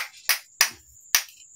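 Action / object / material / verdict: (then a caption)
strike / zinc scrap metal / zinc / hard. Zinc scrap, said to contain aluminum, is struck three times with a hammer, each blow giving a sharp, bright metallic clang with a high ringing tone. The hard metal rings clearly when hit, unlike lead.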